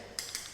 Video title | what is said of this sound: Do Tiles Need to Be Removed Before Vinyl Flooring? - Sunshine Coast Floor Prep | we're nice and solid here